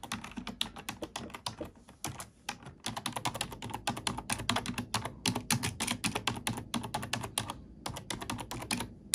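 Fingertips type on a black plastic computer keyboard, producing a rapid stream of bright, crisp key clicks over a soft low thud. The typing pauses briefly twice and ends with single keys pressed one at a time.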